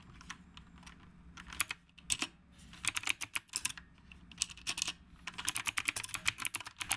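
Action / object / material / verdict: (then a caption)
tap / mechanical keyboard with round plastic keycaps / plastic / none. A black retro typewriter-style mechanical keyboard with round plastic keycaps is typed on continuously with the fingertips of both hands. Bright, sharp clicks come in quick bursts, separated by brief pauses. Each keystroke is crisp and dies away almost instantly.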